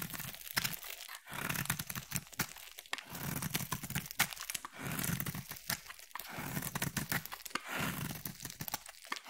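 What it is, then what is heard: Bar soap being carved. A utility blade carves a solid, palm-sized, cream-colored oval bar of soap, and crumbly flakes break off. Dense, dry crackling and crunchy scraping come in repeated bursts with brief pauses between strokes. The sound is bright and crumbly, with a soft low thud beneath.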